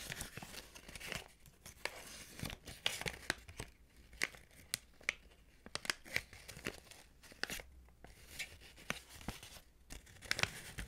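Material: Paper.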